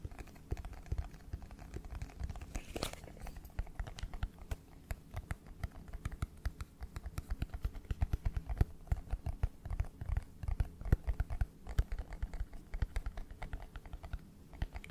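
Fingertips and nails tap and scratch a small red and white cardboard iPhone box, then the box is turned and tapped on its side. Rapid, dull, low taps come in dense clusters, with dry scratching between them and almost no ring after each hit.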